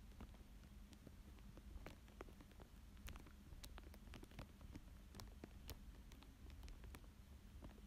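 A thin dark tool traces and scratches across a thin clear plastic sheet lying flat over a paper drawing of a fish. Scattered soft, sharp scratches and faint crinkles tick through the clip over a steady low hum, staying quiet throughout.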